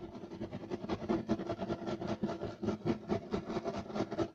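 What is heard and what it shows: Short nails of both hands rake rapidly across a flat, solid, beige striped woven loop-pile carpet. The result is a quick run of dry, scratchy rasping strokes. They are mid-toned with little low rumble or high hiss, and each one stops dead with no ring.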